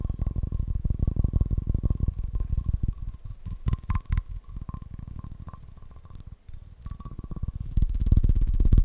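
A bowling pin is tapped fast and aggressively, producing a dense stream of short, deep, hollow thuds with a faint ringing tone near 1 kHz. The tapping is loud at first, softens in the middle, and grows heavier again toward the end.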